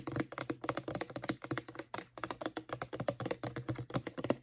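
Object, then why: Plastic mouthwash bottle. Long painted nails tap and scratch rapidly along the sides of a medium-size, hollow white plastic Crest mouthwash bottle whose contents are not visible. The result is a steady run of quick, dry, clicky taps with a hollow low-mid body and short scratchy strokes that die away almost instantly.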